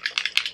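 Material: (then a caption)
Plastic. A 50 ml plastic bottle of tint-free sunscreen fluid is shaken before use, and the small mixing ball inside rattles five times with short, bright clicks. The ball is there to mix the ingredients, and this rattle is normal.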